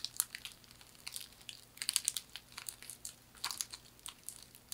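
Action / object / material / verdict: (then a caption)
scrape / woven straw hand fan / straw / none. Long manicured nails scratch and rub across a thin, light, flat hand fan of woven palm or straw in a herringbone weave with a knotted handle. The result is a quiet run of dry, crackly scratches and crinkles, bright and high with almost no low end, each rasp cutting off almost instantly.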